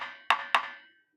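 A finger taps twice on the mango wood body of a dhol drum shell, giving two sharp, bright, woody knocks with a clear ringing tone around 1 kHz. Each tap sings on briefly before fading, the mark of a well-made dhol rather than a dull, dead one.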